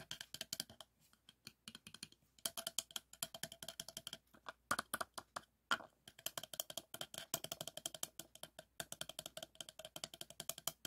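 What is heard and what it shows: A textured teal plastic cylindrical tube, likely a hollow toy, is tapped with fingertips and short nails. Many rapid, dry, clicky taps come in uneven bursts with brief pauses. The sound is bright, has almost no low end, and each tap dies away almost instantly.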